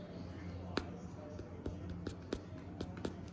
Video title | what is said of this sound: How to Make Meringues | you tap on them they sound hollow you get that little knocking noise